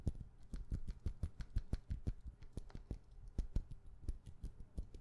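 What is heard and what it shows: A hollow white frosted plastic lid, sitting on a glass perfume bottle held in the hand, is tapped rapidly with long painted nails. The result is a quick, uneven stream of short, soft, dull clicks with a low, hollow body and almost no ring.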